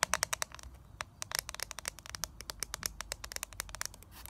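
Long nails tap rapidly on a small, flat eyeshadow palette held in the hands, striking its clear plastic lid, gold plastic back and edges. Around thirty short, dry, bright clicks come in quick, uneven succession with no ring after each tap.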